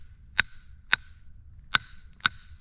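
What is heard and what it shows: A hammer taps a boulder four times, each strike giving only a short, dull tick with a faint high overtone that dies away almost instantly. The rock does not ring like a bell, and the result is unimpressive.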